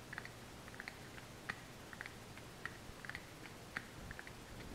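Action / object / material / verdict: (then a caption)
tap / small kraft cardboard box / cardboard / none. Long fingernails tap and scratch a small, hollow brown kraft cardboard supplement box, giving about a dozen quiet, dry clicks that fade almost instantly. The taps have a papery, bright edge centred near 1.9 kHz over a low, steady background hiss.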